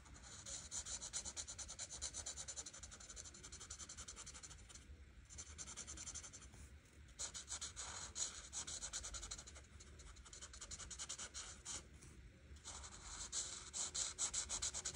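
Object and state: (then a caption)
Marker rubbing on a paper page. A white marker's chisel tip rubs back and forth over a thin printed paper coloring page lying flat on a table, held by a hand with long red nails. Soft, bright scratchy strokes come in bursts with brief quieter pauses between passes.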